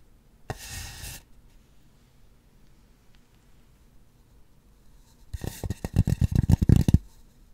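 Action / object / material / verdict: tap / polystyrene foam sphere / polystyrene foam / none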